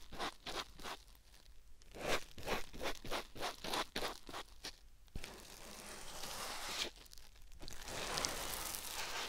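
A white rectangular melamine-type foam sponge block, held in the fingertips, is pressed and rubbed against a silicone ear-shaped binaural microphone. Quick, rhythmic scratchy strokes come first, then give way to a steadier, bright crinkling rustle that swells and dips as the rubbing continues.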